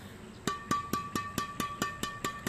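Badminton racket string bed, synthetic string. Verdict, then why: Tight. The string bed of a Hi-qua Addicted LTJ badminton racket, strung densely and tightly with Brillian synthetic string, is tapped ten times in a steady rhythm. Each tap gives a loud, crisp ping with a clear high pitch around 1.2 kHz that dies away quickly, the tight stringing making it sound bright and ringing.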